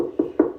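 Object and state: Hollow rotted pressure-treated wood beam.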